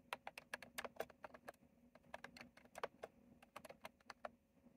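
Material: Plastic.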